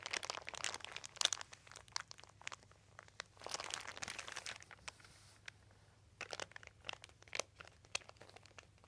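A crumpled, thin white embossed plastic sheet with a dotted texture rests on carpet while both hands press and crinkle it with their fingertips. Bright, crackling crinkles come in dense bursts separated by quieter pauses, each crackle snapping off almost instantly with no low-end body.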